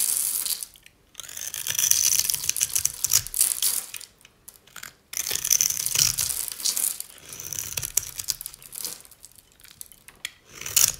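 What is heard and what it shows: A metal utility-knife blade scores and crunches a solid oval bar of dry cream-white soap held in the hand, cutting it into cubes. Dense, bright, crackly scraping and crunching comes in bursts of a few seconds, separated by brief near-silent pauses. The sound is almost entirely high and crisp, with no low body.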